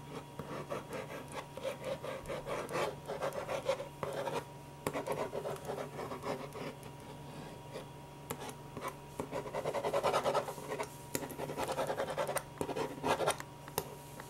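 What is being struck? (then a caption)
Ballpoint pen on a stack of paper. A black ballpoint pen is rubbed and scratched across a stack of white paper sheets in continuous zigzag strokes to draw hair. Dry, papery scratching and rubbing comes in quick bursts of strokes, with quieter pauses between them. The sound is mostly midrange with faint bright edges.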